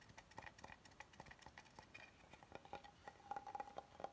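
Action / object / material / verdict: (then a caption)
tap / wooden cutting board / wood / none. Fingernails tap along the edge of an oval solid wooden cutting board, then both hands tap and scratch across its flat face. A quick, dry patter of short, light clicks with a faint ring around 780 Hz and scratchy brushing between them. The hits die away almost instantly, with little low end.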